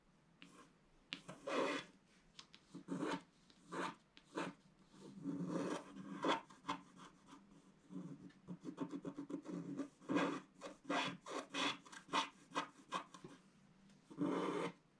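A wooden stylus scratches a flat black wax-coated scratch-art sheet in the sky and sun area. A steady series of short, dry rasping strokes comes through, some quick and clipped and others longer and rubbing, separated by brief quiet gaps. The strokes carry a papery scrape with bright hiss on top.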